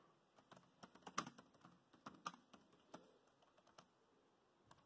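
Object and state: Plastic laptop keyboard typing.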